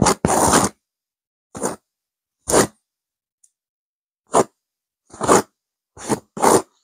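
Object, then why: Velvet-covered stuffed cushion. Long nails scratch a stuffed blue burnout velvet cushion with a cream petal pattern in eight separate strokes. Each stroke is a short, rough, brushy scrape with a bright hiss, separated by silent pauses.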